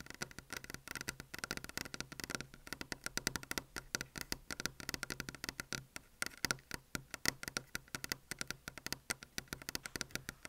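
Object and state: Desk top tapped with fingernails.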